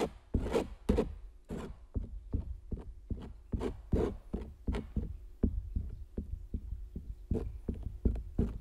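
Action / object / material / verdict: scrape / stretched canvas print / canvas / none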